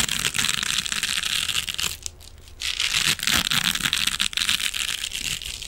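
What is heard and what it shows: A rectangular silver metallic mesh scrubbing sponge is held in front of a microphone and scratched with fingernails. The result is a dense, bright, crinkling scratch with little low end, which drops to a brief quiet lull around the two-second mark before resuming just as intensely.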